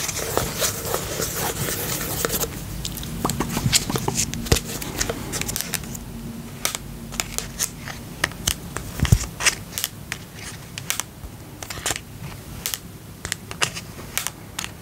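Fingertips tap the side and lid of a small, round, pink plastic tub with a lid, filled with slime and held up in both hands. The result is a rapid string of short, dry clicks and taps. They come densely over a low hum at first, then space out into sharper, more separate taps.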